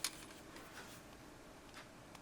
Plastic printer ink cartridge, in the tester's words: You hear nothing, it's empty, it's dry, it's bone dry.